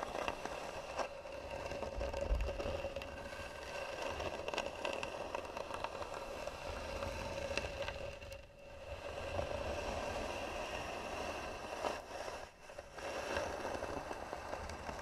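Long nails scratch slowly and hard across the scratched flat lid of a hollow, varnished wooden box with carved sides. A steady, dry rasping with a woody hollow tone runs almost continuously, dipping briefly around 8.5 and 12.5 seconds before resuming.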